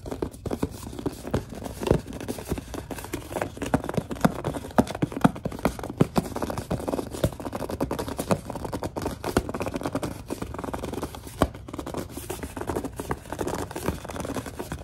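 Long dark nails grip and scratch a large white plastic Suave lotion bottle, making a steady stream of dense scratchy rustling broken by short, sharp clicks and squeaky grips. The sound is dull and mid-to-low in tone, with very little brightness, and each click stops almost at once.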